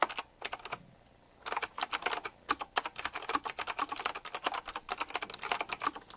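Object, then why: Mechanical keyboard with round plastic keycaps. Fingertips type on a retro typewriter-style mechanical keyboard with round plastic keycaps set in chrome rings. A few keystrokes and a brief pause lead into a fast, continuous run of sharp, short, bright clicking, centred around 1.2 kHz with no low end.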